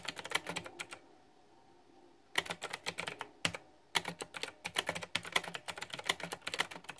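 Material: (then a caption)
Plastic. Fingertips type on a pink flower-themed, backlit, typewriter-style plastic retro mechanical keyboard with round keycaps. The result is bright, crisp clicks in quick bursts, each tap dying out almost at once. There is a quiet pause of over a second early on, then brief gaps before the typing picks up again and runs steadily to the end.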